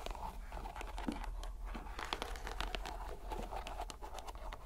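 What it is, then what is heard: Rubber mesh stress ball being squeezed. A green rubber stress ball inside a white net is squeezed by hand, giving a steady run of soft crinkling, squishing and scratchy clicks with a faint midrange tone around 860 Hz over a low rumble. Each click is brief and dies away almost at once, with no clear pauses between squeezes.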